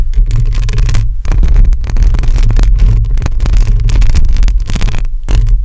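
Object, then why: Metal mesh microphone grille. Long acrylic nails on both hands scratch across a hollow metal mesh microphone grille. The result is a continuous, dense scraping with a heavy low boom and a steady hum around 105 Hz, broken only by brief pauses near 1.2 and 5.3 seconds.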